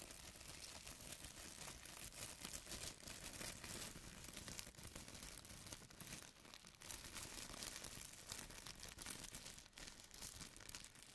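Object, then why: Thin plastic carrier bag. Fingertips pinch, rub and lift a thin white plastic carrier bag resting on a table, crinkling the film. The result is a steady, quiet stream of dense, bright crackles and rustles that swell and dip briefly without stopping.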